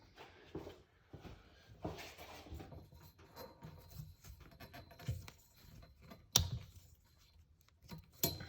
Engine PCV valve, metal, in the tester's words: doesn't really make a noise at all, or just barely